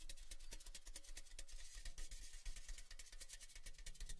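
A tall, cylindrical, orange-red printed metal Baileys gift tin, hollow, empty and open at one end, is held in both hands and tapped rhythmically with the fingertips along its side. The result is a quick, steady patter of short, dry taps, with bright, high ticks over a low, hollow thump that dies away almost at once.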